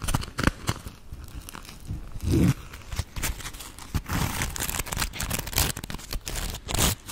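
A round grey polymer foam Scrub Daddy smiley sponge is held in the hands and scratched and squeezed with long acrylic nails. It makes a dense run of crinkly, crunchy scratches with bright rasping bursts and low, muffled squeezing thumps, each sound dying away at once.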